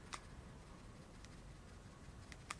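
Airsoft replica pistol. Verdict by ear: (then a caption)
Tight. An official Sig Air M17 airsoft replica pistol is shaken to check for rattle and stays nearly silent. Only a few faint, brief clicks stand out over a low background hum. The pistol proves solid, with no rattle.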